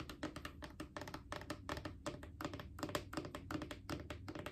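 A Clorox disinfecting wipes canister, a hollow plastic cylinder, is tapped with long painted fingernails while being rotated slightly. The result is a quick, irregular run of dry, clicky taps with a short hollow tone and almost no ring, over a faint low rumble.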